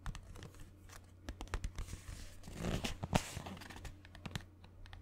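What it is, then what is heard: Cardboard box tapped and scratched. A small, hollow green Instax mini film box of printed cardboard, held close to the mic, is tapped and scratched with fingernails. Quick dry clicks and taps are joined by a denser, brighter scratching and crinkling passage around the middle, over a steady low hum. Each tap dies away almost instantly.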